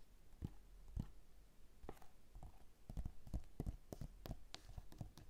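Both hands tap and scratch the glossy inner pages of an open paper magazine lying on a table, using fingertips and nails. The result is a quiet, irregular run of soft, dull taps with a low thump, mixed with brief dry scratches and crisp, bright clicks that stop almost at once.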